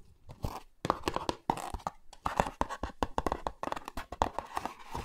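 Fingertips and nails scratch and tap the sides of a small printed cardboard Olay Retinol24 skincare box, probably with the cream jar inside, held close to the mics. A quick, irregular run of dry, hollow taps and papery scratches follows, with short bursts and no ring after each hit.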